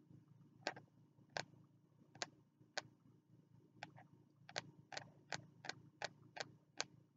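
Fingertips tap the closed cover of a small green spiral-bound notebook with a card cover, held upright in both hands. It makes a series of short, dry, bright ticks with almost no ring, spaced unevenly at first and then quickening into a steady rhythm over a faint low hum.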